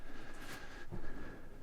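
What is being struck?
Nothing is struck.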